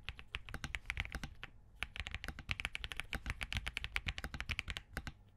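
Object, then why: Mechanical keyboard, POM case, plastic keycaps. Both hands type continuously with their fingertips on a compact Spark67 mechanical keyboard with Crane switches, a POM case and plastic keycaps. About three dozen short, crisp key clicks are heard, each with a bright click near 2.3 kHz over a low thud. The clicks stop almost instantly, giving a steady, uneven typing rhythm with a brief pause in the middle.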